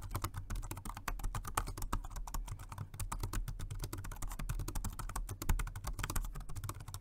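Fingertips type continuously on a Jelly Comb dual-mode rechargeable 2.4G wireless and Bluetooth multi-device keyboard, dark grey plastic with round keycaps, resting on a white desk. The result is a rapid, steady stream of short, soft key taps with a dull low thump under each press and very little brightness or ring.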